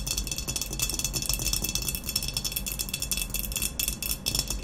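Long nails tap quickly and continuously on an upright, hollow glazed ceramic vase with a matte black textured body. The result is a steady stream of bright, sharp clicks that die away almost instantly, over a faint low rumble.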